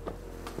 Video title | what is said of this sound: Yaris Cross Hybrid Full Peredam. | Sekarang tidak ada getaran. Panel bodi terasa sangat kokoh,